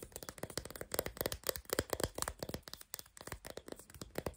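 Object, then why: Chalk sticks. Long black nails tap and scratch the rough surfaces of four unwrapped, solid, crayon-shaped sidewalk chalk sticks (pink, green, orange and lilac), each hand-sized and held together in one hand. A fast, quiet run of dry, clicky taps mixes with a bright, gritty scratching. Each tap dies away at once, with no ring.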